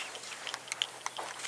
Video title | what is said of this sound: a huge ford 650 update | keep shaking it until about 30 seconds after you hear the ball rattling